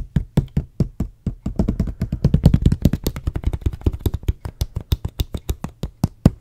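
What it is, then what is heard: Plastic water bottle. Fingers tap and knock along a medium, clear, hollow plastic water bottle with a white label that appears to hold some water, held in the hand. The result is a rapid series of short, dry, low knocks around 148 Hz with almost no ring. The taps start slow and spaced, crowd together into a fast, dense flurry in the middle, then spread out again toward the end.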